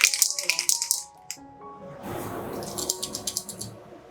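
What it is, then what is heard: Spray paint can with a rattling mixing ball. A metal acrylic spray paint can is shaken, and the loose mixing ball inside rattles in quick, bright clicks. A first burst of rattles is followed by a short pause. A softer hiss then plays under a second run of sharp, high clacks as the shaking continues.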